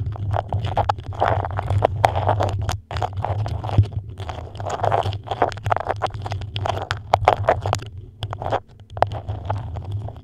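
A thin printed beeswax-coated cotton food wrap, white with a dark pattern, is moulded over a microphone while long acrylic nails scratch and tap its waxy, crinkly surface. The result is a dense stream of soft crackles, rustles and sharp little ticks over a steady low rumble. The texture is broken by two brief pauses.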